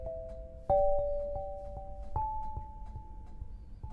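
An 8-bar lithophone of solid black granite slabs on a low frame is struck with two soft-headed mallets with red and green balls on wooden sticks, tapping out a melody. Paired tones in the middle register ring out and sustain, with two louder strikes shifting the pitch upward and lighter taps in between, over a low rumbling background.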